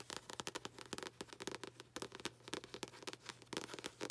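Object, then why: Paperback book with paper cover. Long acrylic nails tap and scratch the paper front cover of a paperback book held upright. The result is a quiet, rapid run of short, dry clicks and crisp scratches with a bright papery edge and almost no ring.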